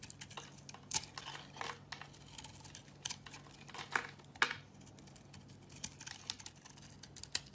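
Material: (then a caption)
Soap. A knife shaves and carves curls off a hand-held, palm-sized, solid green oval bar of soap with a grey surface layer. A quick series of short, dry, crisp scraping and crackling strokes sounds bright, with a few louder cuts standing out. A faint steady low hum runs underneath.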